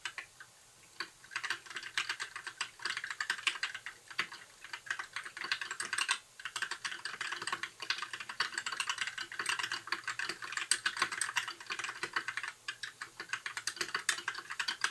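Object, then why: Plastic mechanical keyboard. Fingertips of both hands type continuously on a compact white plastic mechanical keyboard with backlit plastic keycaps. A dense, steady stream of sharp, bright clicks and clacks continues throughout, with only brief pauses between bursts.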